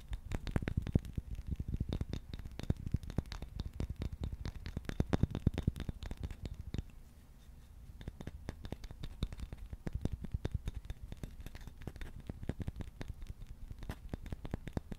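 A handheld wooden shoe brush, with a solid light-wood back and dark bristles, is tapped and scratched with fingertips and nails. Rapid, dry, dull taps with a low, thumpy body follow one another without ringing, over a steady soft scratching. The tapping eases briefly around the middle before picking back up.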